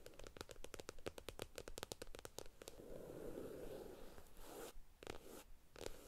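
Long acrylic nails tap and scratch the glossy front cover of a stack of thin paperback comic books lying flat on a table. A quick run of crisp, dry taps gives way to a steady, papery scratching across the cover, then a few more sharp taps near the end.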